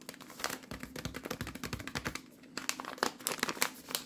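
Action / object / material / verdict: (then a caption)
scrape / plastic film pouch of cooked rice / plastic film / none. Fingers squeeze and crinkle a microwave rice pouch made of plastic film and full of cooked rice. A rapid run of soft, bright crackles lasts about two seconds, dips quiet briefly, then resumes with sharper, louder crinkles. Each snap is short and dry with almost no ring.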